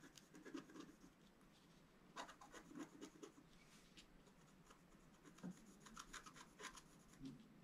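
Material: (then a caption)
Coated paper. A wooden stylus scratches fine strokes across a flat scratch-art card, a black-coated board over a colored foil layer held flat on a table. Soft, dry scraping and rasping is heard in short strokes, with brief brighter scratches standing out from a quiet hiss.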